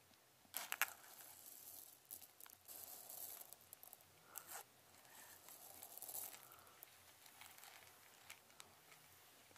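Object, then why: Clear plastic jar of small plastic beads. Fingertips dig into and stir a round clear plastic jar, held in one hand and full of small colorful plastic perler fuse beads, making a bright, steady rustling and crunching rub with sharper clicky bursts. The jar is tilted near the end as the gritty shuffling fades to a quieter patter.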